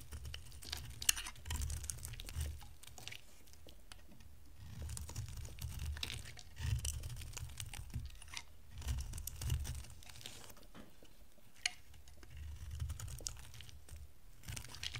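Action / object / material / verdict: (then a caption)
scrape / bar of soap carved with a blade / soap / none. A box-cutter blade carves an oval, solid green bar of dry soap, producing crisp, dry scraping and crunching cuts with bright crackling flakes. The cuts come in uneven bursts over a low, rumbling undertone, with occasional sharper snaps.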